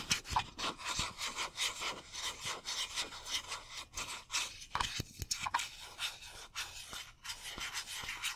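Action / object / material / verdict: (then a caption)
scrape / metal aerosol spray can / metal / none. Fingernails scratch and rub the surface of a hollow metal Glade aerosol air freshener spray can with a cap, held upright. The result is a quick, rhythmic series of dry, bright scraping strokes with a rasping, sawing-like texture and almost no low end.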